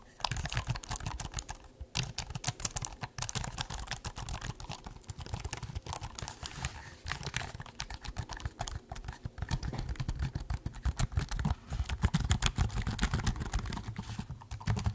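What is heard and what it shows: Fingertips type and tap on the black plastic keys of a silver laptop keyboard while the laptop is held in both hands. A steady, dense stream of quick, dry clicks and taps runs throughout, with a soft low thud under each keystroke and brief bright edges. Each tap dies away almost instantly.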